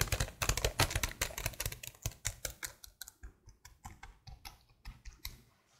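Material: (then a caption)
Plastic. Fingers with long blue nails type rapidly on a detached black plastic laptop keyboard held horizontally close up. Dense, crisp plastic clicks and soft low thuds come in quick, uneven bursts. The tapping is busiest at the start, then thins out and grows quieter toward the end.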